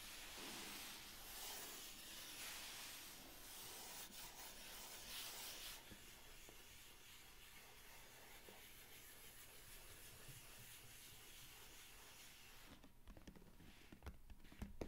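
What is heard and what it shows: Hands rub and fingernails scratch across the lid of a medium, hollow brown cardboard mailer box, making a dry, papery hiss. The scraping is steady and louder for the first six seconds, then turns softer and more intermittent. A few sharper scratches close out the clip.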